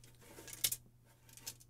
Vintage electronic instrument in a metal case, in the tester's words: something rattling inside here so you can hear that there it is that doesn't sound good